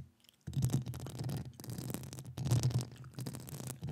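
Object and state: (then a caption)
Metal mesh microphone grille scratched with nails. Long acrylic nails scratch across the hollow metal mesh grille of a standing microphone. After a brief quiet start, a dense, rough scraping begins, with a strong low hum around 117 Hz and a thin, bright rasp on top. It continues in uneven stroke-like surges, dipping briefly between them, until the clip ends.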